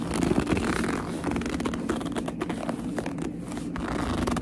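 Long nails grip and squeeze a hollow black leather purse, with some scratching across its surface. The result is a steady run of soft, crinkly squeaks and rough scrapes with a low, muffled body throughout.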